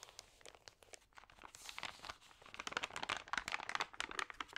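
Fingertips and long nails rub and turn the thin, crinkly pages of an open glossy paper magazine. The result is a steady stream of bright, dry crinkles and short paper snaps with almost no low end, growing denser and louder toward the end.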